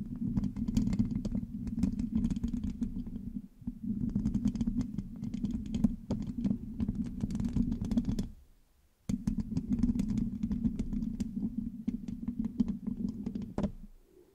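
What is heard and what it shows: Fingertips and long nails on both hands scratch and tap the rounded, hollow metal mesh grille of a black microphone. The result is a dense, close crackling rasp over a steady low hum, with many sharp clicks. Brief pauses near 3.5 and 8.5 seconds break it into three bursts, and the scratching stops abruptly at the end.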